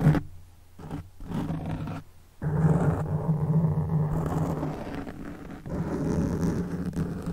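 Hands cup a black foam microphone windscreen and scratch it with their fingertips, producing a deep, muffled rumbling rush that swells and fades in uneven waves. The sound is dense and boomy with a low hum-like tone and almost no high end, at times resembling a low roar.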